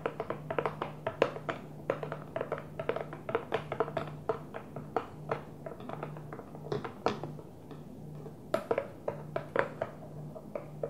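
Long nails tap rapidly on the closed blue lid of a small, hollow, translucent plastic container. The taps are short, sharp and hollow-sounding, mid-pitched with bright clicks, and they fall in quick irregular bursts over a quiet, steady low hum.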